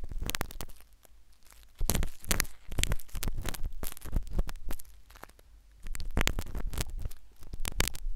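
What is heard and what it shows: A metal syringe needle, inserted from the left, scratches inside the ear canal of a solid, white, soft silicone ear replica on a binaural microphone. Close, crackly scraping and rustling comes in dense bursts with a heavy low rumble. It is quieter at the start, then forms two louder stretches separated by a brief lull.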